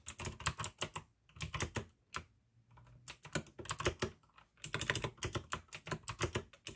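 Fingertips type fast on a full-size pink AUKEY plastic mechanical gaming keyboard with RGB backlight, clicky blue switches and a hollow case. Bursts of sharp, bright clicks with hollow low thocks underneath are broken by short pauses, and a quiet low hum fills the gaps.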